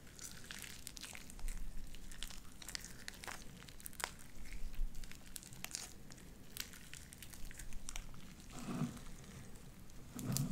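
Light-blue sticky slime with white beads is stretched wide between two hands into strands, producing a steady stream of sharp, crinkly pops and crackles over a low rumble. Louder, wetter squelches swell near the end.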